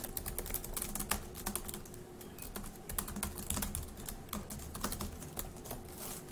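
Fast two-handed fingertip typing on a dark grey laptop keyboard with plastic keys produces a dense, quick stream of short, bright clicks and taps that die away almost instantly. A faint steady low hum sits beneath the keystrokes throughout.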